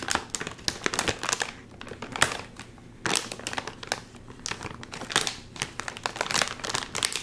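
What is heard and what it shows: A full, sealed red and white metallized plastic chip bag is pulled apart at its top seal with fingers, crinkling and crushing. Dense, bright crackling bursts come in waves, with a quieter stretch in the middle before a sharp loud crinkle starts another run of crushing.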